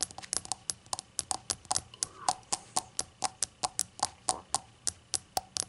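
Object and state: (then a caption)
Glazed ceramic shot glass. A small, hollow, empty rainbow-glazed ceramic shot glass lying on a towel is tapped with long acrylic nails in an uneven run of about 29 quick taps. Each tap is a sharp, bright click with a faint pitched tone near 740 Hz that dies away almost instantly, with little low end.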